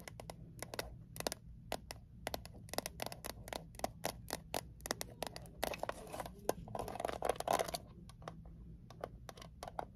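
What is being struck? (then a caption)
Small closed metal mint tin. A small, closed, hollow metal Altoids mint tin is tapped quickly with long acrylic nails on its edge and lid, then turned to face the camera. It gives a rapid run of sharp, clicky taps with a hollow midrange tone and almost no ring. A brief stretch of scraping and handling noise sits over a faint steady low hum.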